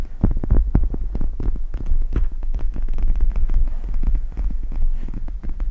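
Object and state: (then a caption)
Gel-bead eye mask scratched and tapped. Long red nails scratch and tap the beaded plastic of a pink "MEOW" eye mask with plastic gel-bead inserts, draped over a microphone. The result is a dense run of short, muffled thumps and scrapes, almost entirely deep low rumble with a steady hum underneath, and no bright top end.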